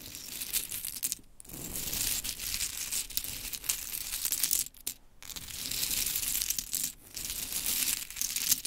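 Long chrome nails rake and tap through a scattered pile of small pink mini wooden clothespins. The result is dense, bright clicking and rattling clatter with very little low end, broken by brief pauses near 1.3, 5 and 7 seconds.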